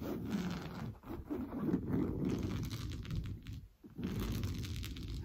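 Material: Fabric.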